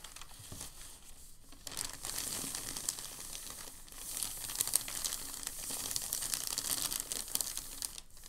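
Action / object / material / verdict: scrape / thin packing paper sheet / paper / none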